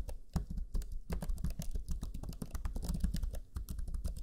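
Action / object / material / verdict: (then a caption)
tap / plastic laptop chiclet keyboard / plastic / none. Fingertips of both hands type rapidly on the black plastic chiclet keyboard of a Lenovo Legion 5 laptop, its low-profile plastic keys giving quick, dense taps. The clicks are short and dry with a soft low thud under each press, running steadily without pause.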